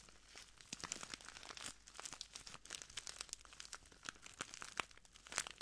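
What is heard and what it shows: A small clear plastic bag full of translucent granules is squeezed and crinkled between ringed fingertips, then pressed flat at the end. Quiet, bright crinkling and crackling come in dense bursts of sharp, dry ticks with almost no low end.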